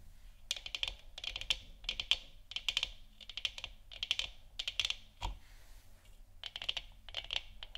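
Long nails and fingertips of both hands tap and scratch a hollow, lit plastic moon lamp sphere. Quick, bright clicks come in rapid clusters like typing. Each click is sharp and dry with almost no ring, set against a faint low hum.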